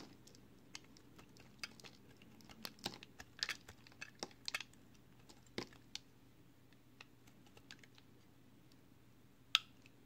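A box cutter blade shaves curled slices off a small, solid, pale green piece of soap held in the fingers. Quiet, scattered, crisp bright scraping ticks sound over a faint steady low hum, with a sharper, louder scrape near the end.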